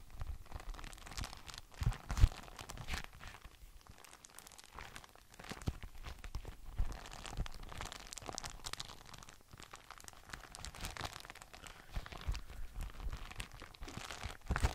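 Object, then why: Thin frosted polypropylene document folder. An empty, large, translucent frosted polypropylene document folder made of thin flexible sheets is held in both hands and bent and flexed with the fingertips. It gives continuous crinkling and crackling plastic sounds with soft low thumps and a few sharper louder pops, especially near the two-second mark.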